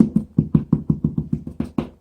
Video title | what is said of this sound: Drywall Repair - Holes, Cracks, Texture | hear that it's hollow behind there which means they didn't seam the sheetrock